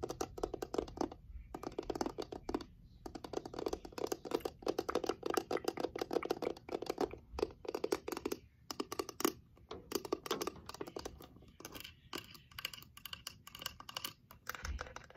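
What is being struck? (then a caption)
Small wooden box with glass panel lid. A small reddish wooden box with a heart-shaped glass rose-window lid, held in the hands, is tapped with long nails on its wooden frame and glass panel. The result is a steady run of quick, dry clicks with no ring, broken by short pauses, with a muted mid-range knock and a faint bright tick on each tap.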